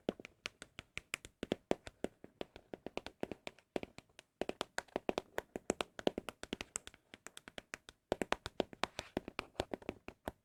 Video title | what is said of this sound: asmr ☾ your MOST requested asmr triggers 🤫 | I don't know what it is about specifically Apple product boxes. They just sound so good.